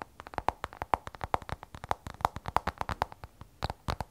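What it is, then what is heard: Glass-backed smartphone tapped with nails. Fingertips and long nails tap rapidly on the glass back of an iPhone 12 Pro, a glass and stainless steel smartphone held sideways. About 33 short, dry clicks follow one another over four seconds, several carrying a faint glassy ring near 870 Hz that dies almost instantly.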